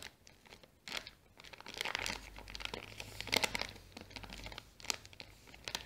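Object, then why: Small kraft paper bag. Long nails scratch a small brown kraft paper bag with a sticker while fingers crinkle its folded top. Quiet, bright, dry crinkles and crunchy scrapes come in irregular bursts, with a louder crackling flurry midway and a faint low hum underneath.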